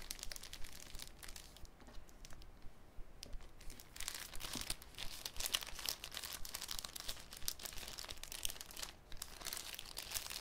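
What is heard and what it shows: A thin clear cellophane sheet is pressed flat with fingers on a wooden table, then lifted and crinkled. Soft, dense crackling and crinkling fill the clip, with bright, sharp snaps over a quiet low rumble. Busier, louder bursts of crinkling follow a brief lull near the middle.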